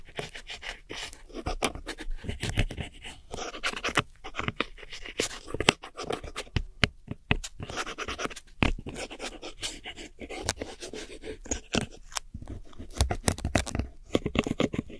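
A metal hook tool scratches and digs into crumbled pressed powder eyeshadow in a small black plastic palette. Dry, gritty scraping runs throughout, broken by frequent sharp clicks and taps that die away almost instantly, with bright crackly detail on top of a low, dull body.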